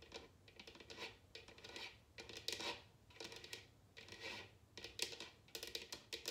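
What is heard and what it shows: A large, hollow, empty bamboo or wooden bowl sits upside down on a glass table and is tapped on its bottom with long nails and fingertips. It gives quiet, bright, clicky taps in irregular bursts, each dying away almost at once.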